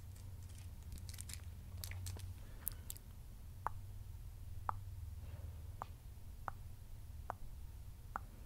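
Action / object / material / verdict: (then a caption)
tap / amethyst crystal cluster / amethyst / none. Long nails tap and scratch the surface of a solid amethyst crystal cluster on a pale rock base. The clip opens with a few seconds of bright, scratchy clicks, then six sharp, separate taps with a short glassy tone around 900 Hz. A steady low hum runs underneath throughout.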